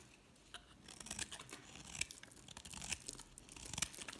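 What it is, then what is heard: Bar soap being shaved. A utility knife blade scrapes and shaves flakes off the surface of a solid red embossed bar of soap held in the hand. The result is a dry, crisp run of scratchy shaving and crunching strokes, quiet and bright, with irregular sharp accents over a steady hiss.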